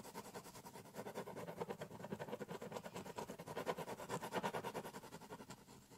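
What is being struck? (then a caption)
Corrugated cardboard box scratched with a ballpoint pen. A biro pen held in the hand scratches continuously across the top of a large, empty, hollow corrugated cardboard shipping box lying flat, drawing and cross-hatching. Quick, uneven back-and-forth strokes, about three per second, make a dry, scratchy rasp with a hollow midrange resonance and a bright papery hiss. The strokes swell and fade in loudness throughout.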